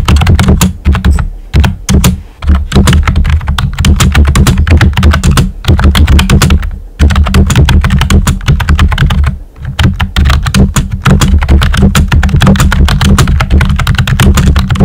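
Fingertips with short nails type steadily on a pink and white plastic computer keyboard with round typewriter-style keycaps and hollow keys. A dense stream of hollow, low-weighted plastic clacks and thocks runs throughout, with brief pauses around 2, 7 and 9.5 seconds before the typing resumes.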